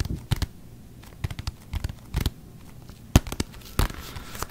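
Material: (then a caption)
Leather. A full-size, hollow, inflated brown leather NFL football with written lettering is held in both hands close to a microphone. Fingertips and nails scratch and rub across its pebbled leather surface, producing short, dry, crackly scratching bursts with a dull, low, hollow body. Quiet pauses separate the bursts.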